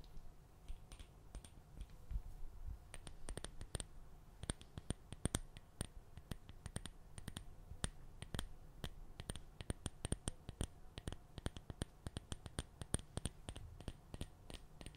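Long red nails tap and scratch the lid and glass wall of a small hand-held glass jar filled with white sugar; the jar has a glass or plastic lid. The result is a quick, uneven run of short, sharp clicks with bright, glassy high ticks that die away at once. Underneath runs a soft, steady low hum.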